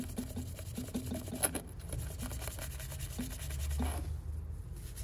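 A small hollow glass salt shaker with a floral print, wet with soapy mud, is held in hand and scrubbed with a purple toothbrush. Repeated low, wet brushing and rubbing strokes are heard, with one brief bright tick partway through.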